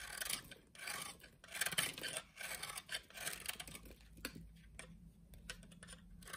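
A solid blue soap bar is held upright while a utility knife cuts small cubes off its end. Quiet, bright scraping and crisp slicing strokes come in uneven bursts, with a faint low hum underneath.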